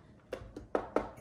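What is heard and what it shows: Four taps on the case of a full-size Roccat Vulcan Pro mechanical keyboard with a metal top plate give short, hollow-sounding knocks centred around 490 Hz that die away almost at once. The full-size case sounds hollow, unlike the solid feel of the TKL version.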